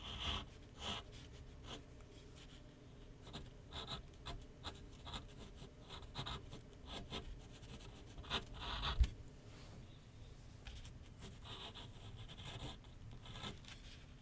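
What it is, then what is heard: Pencil scratching on paper over a board. A pencil held in the fingers writes and scratches strokes across a large white paper sheet mounted on a flat board on an easel. Quiet, repeated dry scratches and rubs come in short bursts over a low steady hum, with one sharper, louder stroke near the nine-second mark.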